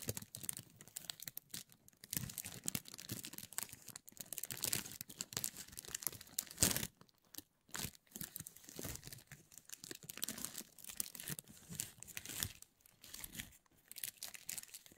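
A thin, clear cellophane sheet is crinkled and rubbed between fingers above the decorations. A dense, bright crackling and rustling runs almost continuously, with a couple of brief quiet gaps near the middle.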